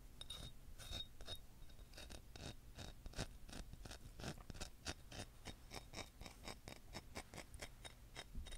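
Long fingernails tap rapidly along the surface of a long, solid white selenite crystal wand. A steady run of light, dry ticking taps follows, each a short, bright click that dies away almost at once. A faint low rumble sits underneath.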